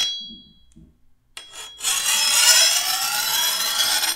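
A hand-held steel file is drawn along the edge of a long, thin, solid steel machete blade. A high metallic ring fades out at the start, followed after a pause by a short scrape and then a long, bright, rasping file stroke that holds steady before cutting off.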